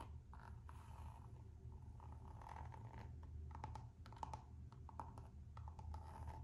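Long nails scratch and rub a Gucci slide sandal's coated-canvas strap and textured rubber sole. The result is a soft, steady scraping texture with a faint tone near 875 Hz, broken by many short, sharp ticks over a low background hum.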